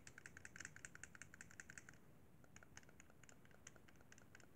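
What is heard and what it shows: Fingertips tap and press the face buttons of a white plastic Xbox 360 controller, a hollow handheld held in both hands. Quick, quiet, bright plastic clicks come in a dense run for the first two seconds, then thin out into sparser taps over a low background rumble.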